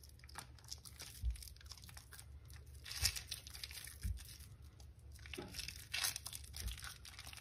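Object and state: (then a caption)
Soaked, mushy soap bar crumbling. Both bare hands squeeze and rub a rectangular white bar of soap, solid but soft from soaking, in a basin with a little water, working it into crumbly foam. The mushy soap gives a steady stream of bright, wet crunching and crinkling, with a few louder squishes and dull low thumps as it crumbles.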